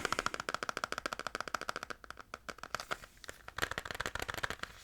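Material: Plastic.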